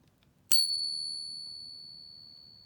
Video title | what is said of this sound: How to catch a Counterfeit Fake Morgan at Home | sounds like money you know sounds like silver money